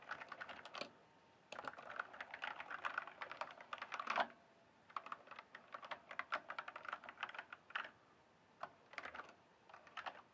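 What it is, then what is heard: Plastic mechanical keyboard. Fingertips type on a full-size RGB-backlit mechanical gaming keyboard with plastic keycaps. Rapid, dry plastic clacks come in several quick runs separated by short pauses. Each keystroke is crisp and dies away almost at once, with a midrange body, bright tops and almost no low end.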